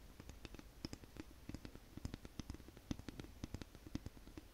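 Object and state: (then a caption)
Wooden comb. Long nails tap and flick along the teeth and spine of a light, solid wooden wide-tooth comb. The result is a quiet, irregular run of short, dry clicks and taps with a low, woody body, a little brightness on top and almost no ring.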